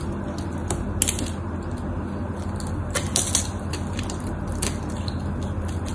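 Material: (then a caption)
Soap. A craft knife carves into the scored face of a solid, cream-colored bar of white soap, and crumbly pieces break off. Sharp, bright scraping crackles and crisp snaps stand out over a steady low rumble, with the loudest cuts landing in short bursts.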